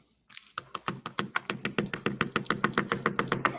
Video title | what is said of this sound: 💅✨ Transform your Look INSTANTLY with Ready-To-Wear Nails Tips - How To Guide - Maniology LIVE! | can you hear that tapping she is not moving